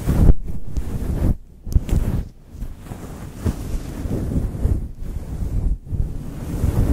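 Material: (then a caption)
Synthetic fur. Long chrome nails scratch and rub a fluffy grey synthetic fur windscreen on a Blue Yeti microphone from both sides and grip its top. The result is a deep, muffled rumbling and whooshing that swells and drops in uneven bursts, with almost no bright detail.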